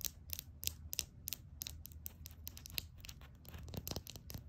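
Long acrylic nails tap on a small glass nail polish bottle full of red polish with a black plastic cap. About nineteen quick, bright, clicky taps with almost no ring fall in an uneven rhythm over a soft low rumble.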